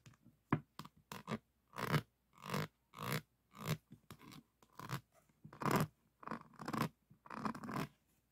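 Fingertips scratch and tap all over a small diamond painting, faceted resin drills set on a flat board. The sound comes in short, dry, broadband bursts of rough scraping with crisp clicks. Quick taps alternate with longer rasping strokes, each dying away almost instantly.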